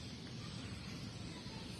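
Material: Nothing is struck.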